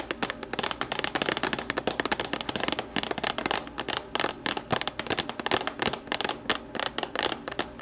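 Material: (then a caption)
Plastic. Long matte nails on both hands tap and scratch the sides and base of an empty, translucent plastic deli container resting upside down on a wooden table. Its hollow shell gives a rapid, dense stream of crisp, bright clicks with a light plasticky hollowness. The taps die away almost instantly, with scratchy rustles between them.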